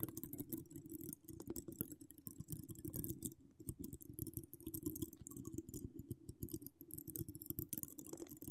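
Long acrylic nails decorated with donut charms scratch across a hollow woven metal mesh microphone grille. The sound is a dense, continuous stream of rapid, crackly scratches and clicks, heavy in the low end with a steady hum-like band near 300 Hz and a bright, crisp sizzle on top. It comes in uneven quiet bursts with brief lulls.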